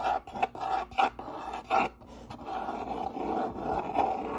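Fingertips and nails scratch and rub the top flaps of a hollow, medium brown corrugated cardboard box with a white label and its lid partly open. Short, loud rasping scratch bursts with a dry papery edge come first, then settle into a steadier, quieter rubbing scrape. The tone centers in the midrange around 760 Hz, with little low rumble.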